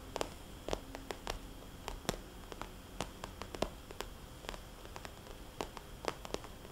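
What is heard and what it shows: Long nails tap on and trace circles over a small, glossy red polka-dot vinyl cosmetics bag. Sharp, bright clicks ring out over a low, soft, hollow rustle. The clicks fall at irregular intervals and die away almost instantly.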